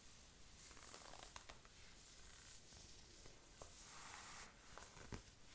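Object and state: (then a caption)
Knit synthetic fabric sleeve. Long painted nails and a thin wooden stick scratch a black perforated stretch-knit synthetic fabric sleeve on her raised arm. The result is a steady, soft, bright scratching rustle over a low background rumble, broken by three sharper ticks.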